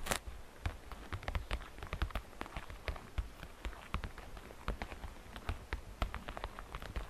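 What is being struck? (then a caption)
Thin plastic basket. Fingernails tap the faceted walls and rim of a hollow, transparent green glitter plastic basket. They make a quick, irregular run of short, dry clicks and ticks with little ring. Each tap carries a soft low thump under a bright crackly edge.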